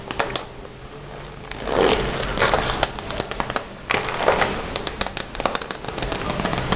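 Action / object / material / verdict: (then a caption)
tap / vinyl zippered pencil case / vinyl / none. Fingertips drum, tap and scratch rapidly across the front of a closed, hollow, red glossy vinyl Hello Kitty zippered pencil case. Dense, crackly taps and bright scratching swells blend together, with the loudest bursts near two and four seconds.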